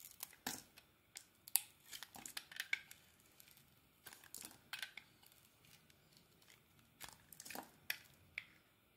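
A solid white bar of soap with a teal embossed coating is held in hand while a metal utility-knife blade shaves and carves thin curls off it. Quiet, crisp scraping and cutting strokes come in irregular bursts, bright and papery with almost no low end, each stroke ending quickly.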